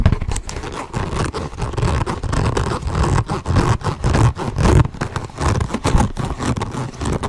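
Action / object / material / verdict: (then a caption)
scrape / small structured leather handbag / leather / none. A small, structured, hollow tan leather handbag with brass buckles is held up and tapped and scratched with fingernails. The result is a steady, uneven run of soft, dull low thumps mixed with dry scratching and rustling on the leather.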